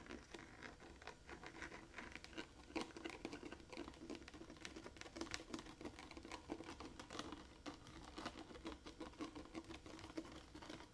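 A large blue hollow plastic water jug with a metal cap is held against the body and tapped and scratched with fingertips and painted nails. The result is a quiet, steady stream of rapid, dry clicks and scratchy patter, with a hollow low-mid body and bright edges on the sharper taps. Each tap dies away almost instantly.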